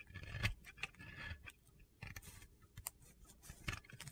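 A metal blade scrapes gritty shavings from a solid white Oscar de la Renta bar soap held in red-nailed fingers. Short, crunchy, gritty scrapes repeat in uneven bursts, each with a dull low body and a bright, hissy edge that stops almost at once.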